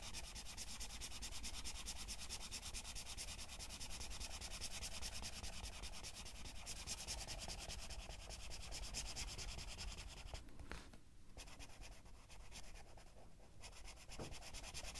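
A black-barrel colored pencil shades a page of an open paper coloring book lying flat, rubbing back and forth in quick, repeated strokes. The result is a steady, dense, scratchy hiss that is bright and papery over a faint low rumble. It eases briefly in the last third before the strokes pick up again.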